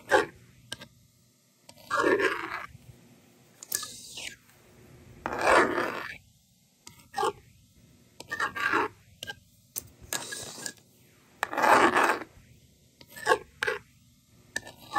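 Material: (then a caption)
Plastic. A yellow plastic stylus writes numbers on the honeycomb screen of a small hand-held plastic magnetic doodle board, making short and longer bright scraping strokes separated by quiet pauses. The slider drags across to erase the screen, giving longer, steadier rasping sweeps between the bursts of writing.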